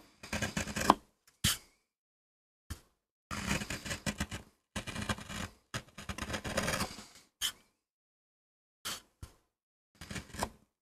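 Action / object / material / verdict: scrape / MDF printing block carved with a gouge / MDF / none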